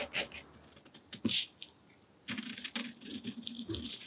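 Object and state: Cotton rag paper.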